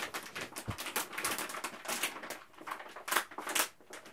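A resealable printed plastic food pouch, which appears partly full, is held in both hands and squeezed and crinkled with the fingertips. It makes a steady stream of bright, crackling crinkles with sharp louder bursts, and there is almost no low end.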